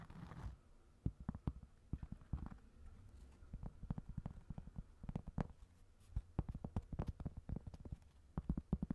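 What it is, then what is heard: Cork coaster. A round, flat, solid cork coaster about 20 cm across is held up in one hand above a second identical coaster while fingertips and nails tap and scratch its surface. The result is a quiet, irregular run of soft, dull, low thuds with short, dry decay, mixed with faint scratching. A brief rustling burst is heard at the very start.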